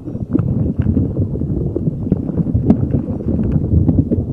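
A neon green soft rubber spiky puffer ball is rubbed and squeezed with fingers over a microphone. It makes dense, low, muffled rustling and rubbery knocking with quick soft taps throughout.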